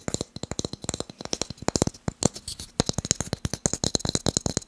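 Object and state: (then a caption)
Wooden blocks. Fast tapping on wooden blocks produces a rapid series of about thirty short, dry taps over nearly five seconds. Each tap dies away almost at once, with a hollow knock around 170 Hz and bright clicky highs.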